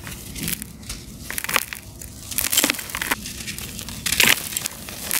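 Bare fingertips and palms squeeze and rub a fist-sized, solid, dry, gritty sand-cement block held over a blue basin of cement powder; the block is crumbly and breaks into two chunks that are then ground and crumbled against each other. A steady, bright, sandy crackle runs throughout, broken by sharper, louder gritty crunches with almost no low end.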